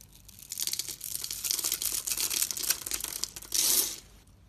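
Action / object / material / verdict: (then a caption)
scrape / bar of soap cut with a blade / soap / none. A hand with long red nails holds a hand-sized solid red soap bar and shaves its scored surface into small cubes with a metal utility knife blade. The result is a dense, bright, crumbly cutting and scraping that crackles steadily for about three seconds. It ends with a louder sustained scrape before trailing off.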